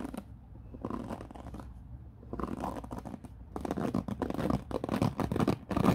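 Fingertips brush back and forth over the white-tipped bristles of a black plastic paddle hairbrush resting on a wooden floor. The result is soft, scratchy rustling in irregular bursts, quiet at first and growing denser and louder toward the end.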